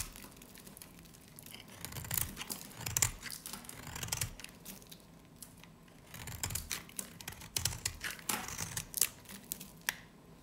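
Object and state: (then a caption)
Dry varnished soap bar. A dry, solid green soap bar with a black varnished edge, held in the hand, is carved and scraped with a utility knife blade. Crisp, bright scraping and crackling shavings come in irregular bursts, with soft low thuds and short quiet gaps between strokes.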